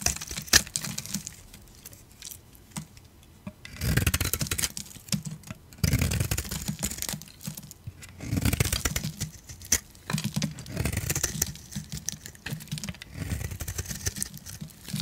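A metal utility blade scrapes crunchy layers off a solid dry soap bar with its dark grey interior exposed, held in the palm. The sound comes as repeated dry, crackling scrape bursts with a bright, gritty texture over a low, muffled rumble, separated by short quieter pauses.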